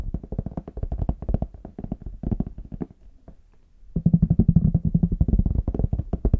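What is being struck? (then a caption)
Small faux leather hard shell case. Fingertips and short nails tap and scratch the smooth, flat back of a small, hollow, brown faux leather hard-shell case held in both hands. Quick, dull, low-pitched taps patter in an uneven rhythm, fade to a quiet pause near the middle, then return in a denser, louder flurry with a faint low hum beneath.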